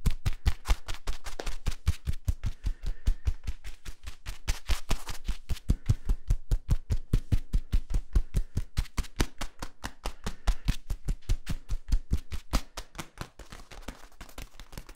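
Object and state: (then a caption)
Corrugated plastic tube. Fingertips tap the labeled cap of a compressed, hollow yellow corrugated plastic tube and scratch along its ridges. The result is a rapid, uneven run of short, dry taps with deep thumping lows that die away almost instantly. Toward the end, softer, noisier scratching takes over.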